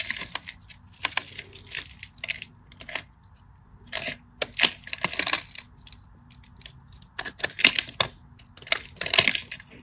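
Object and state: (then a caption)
Dry bar soap being carved. A solid rectangular cream-coloured bar of dry soap, held in the fingers, is carved with a small utility knife blade that scores a grid and chips off small crumbly pieces. Bright, dry scraping and crisp cutting bursts come in irregular clusters, with short, quick-fading crackles and almost no low end.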